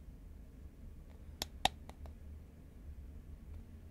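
A tall cylindrical cardboard Pringles can made of composite paperboard is held horizontally in both hands while fingernails tap its side. Two sharp, dry taps are heard, with a few fainter clicks after them, over a low background hum. Each tap dies away almost at once.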